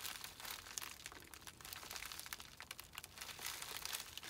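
Fingertips rub, press and crinkle the plastic film of a small white poly bubble mailer with a label, holding a small item. A steady stream of bright, crisp crinkles and tiny crackles continues throughout, with almost no low end.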